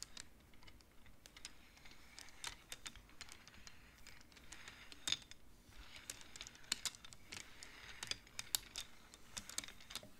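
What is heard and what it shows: Fingertips slide colored wooden beads along the metal rods of a large wooden-framed abacus, clacking them together. The quiet clip is a steady, irregular run of short, dry, bright clicks with no ringing, some sharper clacks standing out over a soft rustle.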